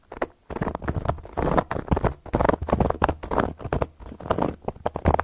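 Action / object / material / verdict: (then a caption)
scrape / cork board scratched and tapped with metal nail caps / cork / none. Long gold metal claw nail caps scratch and tap across a round, flat, solid cork board. The result is a dense run of short, dry scraping and clicking bursts with no ring, weighted toward the low and middle range and separated by brief pauses.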